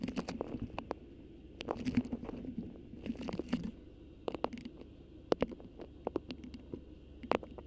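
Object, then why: Beeswax-coated cotton wrap. A thin, stiff, cream beeswax-coated cotton food wrap with a black botanical print, draped over a microphone, is gripped, crinkled and scratched with long acrylic nails. Soft, close crackles and dry rustling rise and fall in bursts, broken by sharp, bright crinkling snaps over a low, steady hum.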